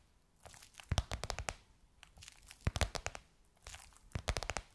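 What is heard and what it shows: Long nails tap and scratch across a gold crocodile-embossed faux leather cover on a soft cushion. Three bursts of quick, dry taps mix with crinkly, bright scratching, each tap ending almost at once with a soft low thud from the padding beneath.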